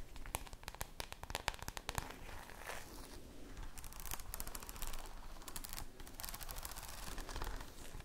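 Long nails tap quickly on the plastic cover of a red spiral notebook held in both hands. The result is a rapid run of sharp, crisp clicks with a crackly, crinkling texture, over a soft low rumble.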